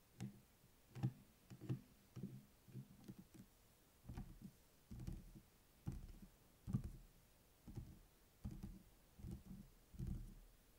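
Fingertips and nails tap and rub the cardboard cover of a closed purple hardcover spiral notebook lying on a table, near the spiral. The result is a quiet series of soft, dull, low thuds that die away almost instantly, with faint scratchy rubbing between them.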